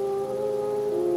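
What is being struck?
Nothing is struck.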